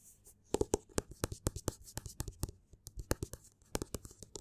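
Fingertips and nails scratch and tap the cover of a small, solid black hardcover book with paper pages and a cloth or board cover, held in one hand on a table. About 23 quick, dry taps with short low thuds come through, mixed with bright, hissy scratching between them.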